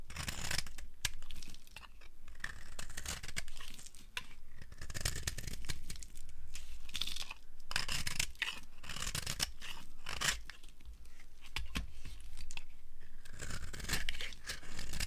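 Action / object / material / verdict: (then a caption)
scrape / soap bar / soap / none. A flat blade scrapes a solid, pale green dry soap bar held in the hand, shaving off crumbly pieces. Repeated dry, scratchy strokes with a bright, crackly tearing texture continue steadily throughout, over a faint low background rumble.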